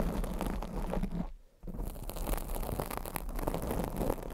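Long acrylic nails scratch across a black foam microphone windscreen, making a dense, crunchy rustling scrape heavy in low rumble. The scratching pauses for a moment near the middle, then resumes just as thickly until the end.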